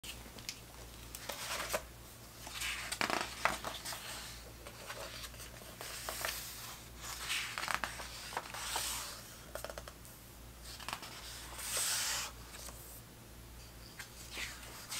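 Fingertips glide over the thick paper pages of a large vintage 1970s soccer hardcover book lying open on a green table, then turn them. Soft rustling and sliding give way to crisp, bright page flips and crinkles, over a faint steady low hum.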